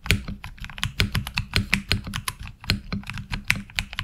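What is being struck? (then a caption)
Mechanical keyboard with ABS plastic keycaps. Fingertips type on a HyperX Alloy Origins Core mechanical keyboard with ABS keycaps, seen close from the side. A quick, uneven run of sharp, bright clacks rides over a steady low thump, each keystroke dying away almost at once.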